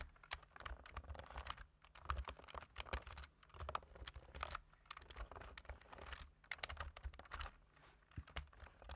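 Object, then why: Plastic computer keyboard. Two hands type with their fingertips on a black plastic computer keyboard, producing a steady, quiet patter of short, sharp key clicks. The taps come in dense bursts separated by brief pauses, with a soft low thump under each keystroke and a bright click on top.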